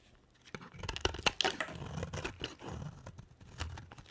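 A box cutter blade scrapes and carves a dry, solid, palm-sized white bar of soap. After a quiet start, bright, crisp scraping and crackling sets in around half a second, broken by a few sharp snapping peaks. It continues as an uneven, gritty rasp with a soft low thud beneath.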